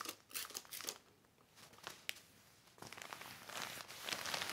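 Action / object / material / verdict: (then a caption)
scrape / heavy plastic sheet / plastic / none. A black heavy plastic sheet is smoothed by fingertips and wiped with a yellow cloth. Bright, crisp crinkling comes in bursts with a quieter lull near the middle, then builds into denser rustling toward the end.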